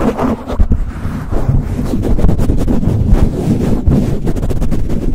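Fingertips quickly rub and pump a soft, hollow black foam windscreen over a microphone. The result is a loud, muffled, continuous rumble of low thuds and rustling, almost all deep bass with no bright content.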